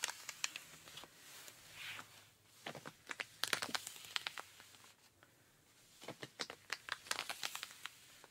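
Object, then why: Denim jeans fabric. Rubber-gloved fingers scratch the thigh and knee of ripped denim jeans. The result is quiet, dry, bright scratching and crinkling in rapid bursts of sharp, short clicks, separated by brief softer pauses.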